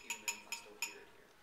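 A glass test tube submerged in a beaker of corn oil, where refraction makes it invisible, is tapped four times. Each tap gives a bright, high-pitched glassy clink with a very short ring, which shows the tube is still there.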